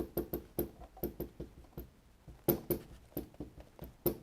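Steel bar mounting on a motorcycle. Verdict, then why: Tight. Steel bar mountings near the radiator of a motorcycle, a Tenere 660, are tapped in a quick series of short, dry knocks while the fog light is held, checking whether they cause a rattle. Each knock is brief and slightly pitched, with little ring. The mountings prove not to be the source of the rattle.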